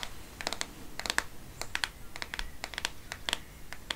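Fingernails tap and scratch the back of a black plastic-backed smartphone held close, making about seventeen short, bright clicks in an uneven rhythm. Each tap is crisp and dry, dying away almost at once over a faint scratchy hiss.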